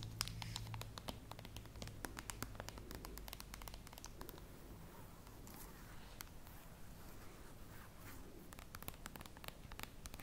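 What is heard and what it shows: A full glass bottle of rice syrup with a paper label is held up in both hands while fingernails tap and scratch the glass. Quick, irregular clicks and bright scratching sounds over a low hum fill the quiet clip. The "normal" flag is false, but no reason is given, so no verdict is stated.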